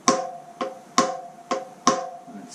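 A steel wheel bearing on a 2017 Husqvarna TE300 motorcycle is tapped into place during wheel bearing service, giving five sharp metallic taps. Each tap leaves a short, clear ring around 530 Hz with a bright attack. The solid tone, which changes once the bearing is set, indicates it is fully seated.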